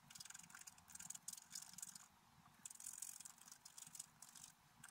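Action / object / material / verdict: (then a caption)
scrape / black-coated scratch-art paper card scraped with a wooden stylus / coated paper / none. A wooden stylus scrapes across a flat, black-coated scratch-art paper card in quick repeated strokes. It makes a dry, bright, hissy scratching in short bursts separated by brief quiet gaps, with almost no low end.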